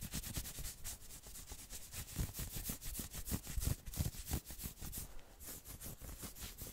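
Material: Knit fabric.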